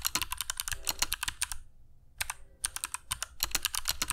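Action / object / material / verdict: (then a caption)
tap / mechanical keyboard with plastic keycaps / plastic / none. Fingertips of both hands type continuously on a compact black mechanical keyboard with dark PBT plastic keycaps and Kailh Box Jade switches, resting on a cork desk mat. About 27 sharp, bright clicks come in quick bursts, each with a short thud underneath, broken by a brief pause near the middle.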